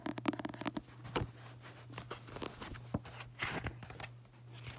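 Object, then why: Paperback book paper pages. Fingers flip and riffle through the thick white paper pages of an open paperback book. A quick run of crisp, papery flutters opens the clip, followed by scattered brighter page swishes and rustles over a steady low hum.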